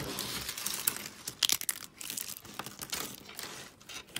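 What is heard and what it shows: A hand with long nails squeezes and crumbles a handful of pastel dry soap flakes. The result is a dense run of dry, crisp crunching and crinkling, bright and papery with almost no low end, punctuated by a few sharper snaps.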